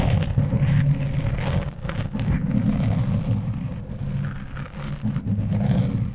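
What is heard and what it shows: Fingernails of both hands scratch across the top of a black foam windscreen on a microphone. The result is a dense, low, rumbling scrape with brief brighter rustling bursts, steady in level throughout.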